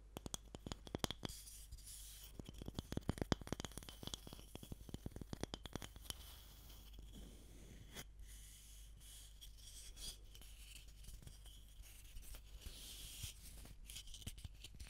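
A solid, pale wooden block is held upright and then sideways near the microphone while long nails and fingertips scratch and tap it. Quick, dry, bright taps and clicks come in dense bursts at the start and end, with softer continuous scratching through the middle over a low steady hum.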